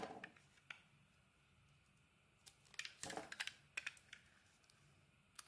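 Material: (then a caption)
Soap. A utility knife blade scrapes and shaves the outer layer off a solid green dotted Fa soap bar held in the hand. Quiet, irregular bursts of crisp, bright scraping clicks sound out, with a thicker cluster of shaving strokes in the middle. Each stroke ends almost at once, with no ringing.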